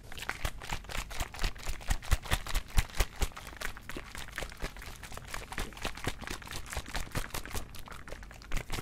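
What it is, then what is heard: Small plastic bottle of mouthwash being shaken. A small plastic Listerine bottle of blue mouthwash is held in one hand and shaken side to side close to the mic. Its liquid sloshes in quick, uneven bursts of wet splashes with low thumps and a bright crackly edge, louder in the first few seconds, then settling into a steadier, softer churn.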